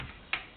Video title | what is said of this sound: organic apples | nice and hollow kind of sound but dense